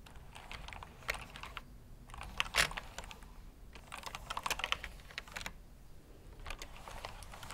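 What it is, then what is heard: Plastic mechanical keyboard being typed on. Fingertips type on the plastic keycaps of a black backlit mechanical keyboard resting on a brown cloth surface. A steady run of bright, sharp clicks comes with brief pauses, and a few louder strokes stand out near the middle. Each keystroke dies away almost instantly over a faint low background.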